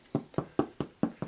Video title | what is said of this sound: Anyone can make this BREAD!! Simple step by step no knead rustic artisan bread | You'll hear that real nice light tap to it.